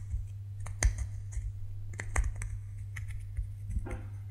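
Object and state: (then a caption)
Bar of soap scraped with nails. A solid white bar of soap is scraped and scratched with fingernails, leaving crumbs on the table. About ten short, crisp, bright scratching clicks come at an irregular pace over a steady low hum.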